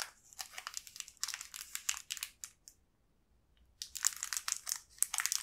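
A small, green, transparent plastic wrapper holding a single crepe cookie stick is squeezed and rotated in both hands. It makes bright, dense crinkling and crunching, with a quiet pause of about a second in the middle before the crackling resumes.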